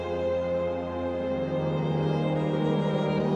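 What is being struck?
Nothing is struck.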